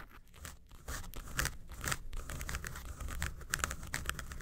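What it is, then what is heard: Faux leather makeup case being scratched. Long nails scratch the front face of a small, hollow, yellow textured faux-leather makeup suitcase. Dry, crinkly scratching comes in quick, irregular bursts with a soft low hollow body beneath. The strokes stay short and close without ringing.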